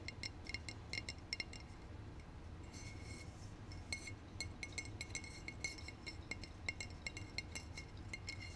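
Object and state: Glass bottle.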